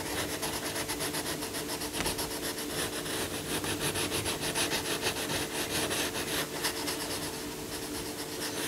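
A yellow coloured pencil, held at the fingertips, shades a lion's head and leg on a paper colouring book page lying flat, using small strokes. The result is a steady, bright, scratchy rubbing made of quick repeated strokes, with a faint steady low hum underneath.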